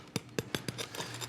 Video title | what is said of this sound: HSN - Chef Curtis Stone 05.12.2018 - 03 PM | have a listen to this see how crispy and fantastic the base of that pizza